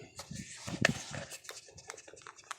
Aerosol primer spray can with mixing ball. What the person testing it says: Shake it up really well. I mean, shake it. You hear the thing start to rattle.